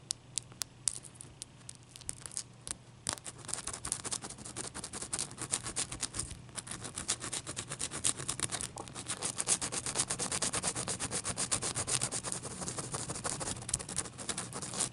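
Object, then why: Ice cube. Long dark-painted nails rapidly scratch and tap a clear, solid ice cube resting on a towel. The result is quiet, bright, scratchy rubbing dotted with sharp, short clicks, sparse at first and then a dense, steady texture from about three seconds on.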